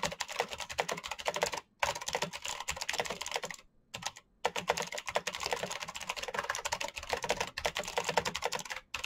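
Fingertips type fast on a full-size black plastic Razer mechanical keyboard with clicky green switches and RGB backlight. Dense bursts of sharp, bright clicks rattle on, broken by a few brief pauses. Each click is crisp and dies away almost at once.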